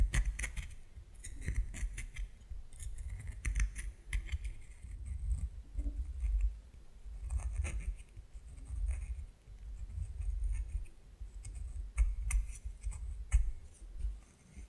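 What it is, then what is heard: Bar of soap scraped. A solid white bar of soap is scraped with fingernails, flaking off pieces that fall away. The clip is a run of crisp, dry scratching strokes with bright edges over a steady low rumble, with short pauses between passes.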